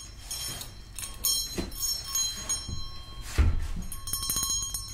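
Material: Brass.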